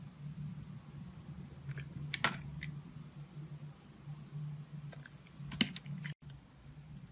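A utility knife with a steel blade and green handle scrapes and shaves thin layers off a small, solid, translucent orange glycerin soap bar held in one hand. Short, crisp, bright scraping clicks come at irregular intervals over a steady low hum. The two sharpest cuts stand out near the 2- and 5.5-second marks, and the sound drops out briefly just after 6 seconds.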